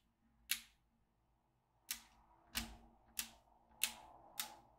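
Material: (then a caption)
Plastic and steel. A yellow plastic magnetic pen is moved across a small, flat black plastic magnetic drawing pad, clicking up steel beads from its grid of holes. Six sharp, bright clicks come at uneven intervals, each ending in a quick, short tail.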